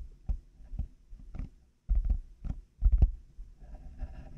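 Fingertips and nails tap on black, hollow plastic over-ear headphone earcups fitted on a binaural mic. The taps land as dull, low, thumpy knocks with sharp clicky edges that die away almost instantly. A soft scratchy patter fills the gaps and trails off at the end.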